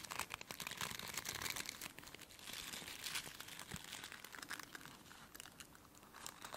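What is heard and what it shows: Long nails flick and scratch the stiff plastic bristles of a plastic brush. The result is a dense, continuous run of dry, bright crackling clicks with a crinkly, rustling texture and very little low end.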